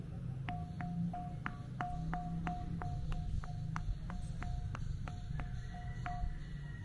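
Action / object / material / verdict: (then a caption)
tap / carved stone sculpture / stone / ringing. A broken carved stone in a museum, shaped like two crossed arms, is tapped repeatedly, each tap giving a short, bright ping around 700 Hz over low background music. It is the only stone in the museum that makes this unusual echoing sound.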